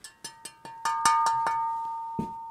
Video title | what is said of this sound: RCF NX M25A full review and dissection - AUTHORIZED DEALERS | hear that ring it is cast aluminum